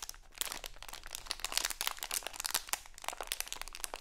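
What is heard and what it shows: A small printed crinkly plastic Halloween candy bag, held in both hands, is crinkled and scratched with long acrylic nails. Dense, bright crackling and scratching fills the clip with many sharp, quick crinkles that die away almost instantly, with little low end.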